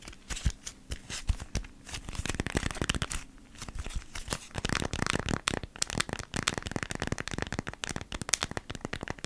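A small, thin, flat folded beeswax-coated cotton food wrap is held in both hands and scratched and rubbed with long nails. It makes dense, dry crinkling and crackling scratches with quick, bright clicks over a faint low hum, growing busier and more continuous after the first half.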